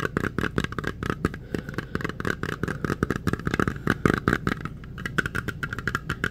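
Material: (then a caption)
Metal. A small round metal putty tin with a printed lid is held in the hands and tapped rapidly with fingertips and nails on the lid and rim. The result is a dense, steady stream of short, dry clicks and thumps with almost no ring. It has a low, hollow body and a faint metallic tone in the midrange.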